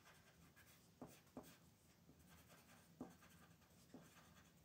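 A brown wooden colored pencil rubs and scratches across a thin mandala paper coloring sheet resting on a wooden table while coloring. Soft, steady papery scratching runs throughout, broken by a few sharper, brief strokes that stand out above the quiet hiss.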